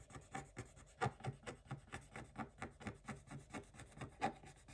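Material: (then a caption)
Coated paper. A wooden stick scrapes along the lower edge of a design on a black-coated scratch-art page in a spiral notebook. About twenty short, dry, rasping strokes come in an uneven rhythm, each with a soft low thump and a brighter scratchy edge that stops almost instantly.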